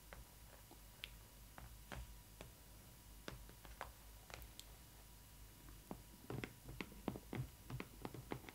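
Long nails tap and scratch the printed cardboard of the heart-shaped frame on the front of a Disney Ily 4ever Stitch doll box. Short, dry, clicky taps sound over a soft, low scratching hiss. The taps are sparse at first and grow quicker and busier after about six seconds.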